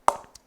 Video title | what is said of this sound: SS VA 900 Blaster Cricket Bat Review | The pressing on the Blaster series is slightly on the firmer side.